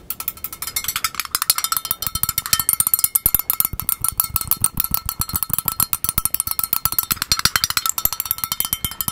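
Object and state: Plastic bowl, hollow and empty.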